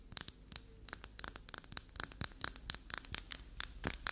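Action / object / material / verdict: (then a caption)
scrape / small bar of black soap scratched with fingernails / soap / none. A small flower-shaped black soap bar, looking grey under the lighting, is held in the hand while long natural nails scratch quickly across its faces and edges. The result is a rapid run of crisp, dry, bright scratches and light taps, about 22 short strokes with almost no ring, over a quiet background.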